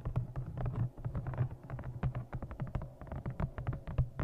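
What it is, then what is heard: Embossed leather journal. Long nails tap rapidly on the cover and top edge of a thick brown embossed leather journal held in front of the microphone. The result is a dense, irregular run of short, dull taps with a low, hollow thud centered near 129 Hz and almost no high-end brightness.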